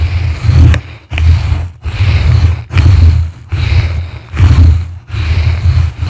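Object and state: Foam microphone windscreen being brushed.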